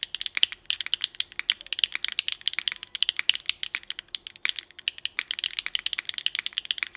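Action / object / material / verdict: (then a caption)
tap / mechanical keyboard with ABS plastic keycaps on an aluminium plate / ABS plastic / none. Fingertip typing with both hands on a 60% Nuxros NR6 x VNMK mechanical keyboard with Hyacinth v2u, GMK Rainbow ABS keycaps and an aluminum plate. A rapid, steady stream of short, crisp clacks with almost no low end, centered around 3 kHz and brighter above, each dying away almost instantly.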